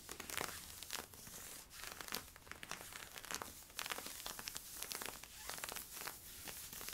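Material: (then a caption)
Polyester-spandex. Fingernails scratch worn camo polyester-spandex stretch leggings along the side stripes and hip. The result is a quiet, continuous run of bright, dry scratching and crinkling strokes with little low end.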